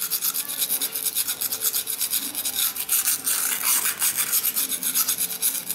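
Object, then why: Steel knife blade on a sharpening stone. A large steel kitchen knife is stroked back and forth across a solid dark rectangular whetstone resting on a tiled floor, with fingertips pressing on the blade. About seventeen quick strokes give a steady, bright, hissing rasp of steel on stone, each stroke swelling and fading in a rough rhythm.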